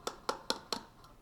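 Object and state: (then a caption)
Cup filled with contents, damped tap. A filled cup is tapped four times, giving short, quiet, dull taps with a brief bright click and a mid-range tone that dies away almost at once. The filled cup sounds quieter than it does when empty.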